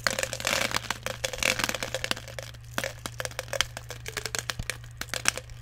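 Fingers dig into and stir small plastic airsoft BBs in a clear plastic jar that is partly full. The result is a dense, bright rattle of sharp clicks and crackling ticks, busiest at the start and thinning into scattered clicks later, over a faint steady low hum.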